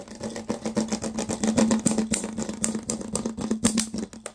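An empty, hollow clear plastic water bottle with its cap removed has its ridged sides rapidly scratched and squeezed with fingertips and short nails. Quick, uneven bursts of crinkly, bright scratching run over a steady low hum.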